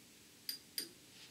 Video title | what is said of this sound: Tube Lab #51 Biasing the Willsenton R8 or any Push Pull Class AB amp | it's got a little bit of a ring